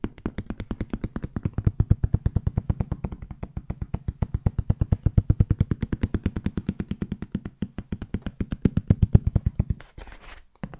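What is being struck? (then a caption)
Hard-shell headphone case. Fingertips tap rapidly and steadily on the surface of a large, hollow, black JBL hard-shell headphone case, producing about 89 quick, dull, low hollow knocks with almost no ring. The tapping stops near the end, followed by a brief soft rustle.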